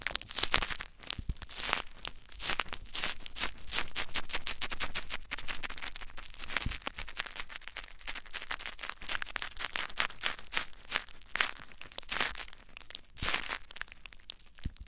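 Clear plastic bubble wrap mounded over a recorder is scratched and crinkled with fingertips and nails. A dense, continuous run of bright, crackly rustling and sharp crinkles sounds close and quiet, with brief louder scratches standing out.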